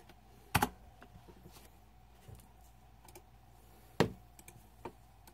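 Fingertips type and press the plastic keycaps of a green-backlit Razer 2014 Deathadder mechanical keyboard. Two loud, sharp clacks stand out among scattered softer key taps, each dying away almost at once over a faint steady hum.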